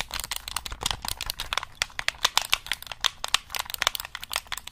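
Fingertips tap and press the buttons of a black hollow plastic gamepad held just above the mic, making around thirty rapid, sharp clicks. Each click is short and bright with almost no low end and dies away instantly, giving a crisp, uneven clatter.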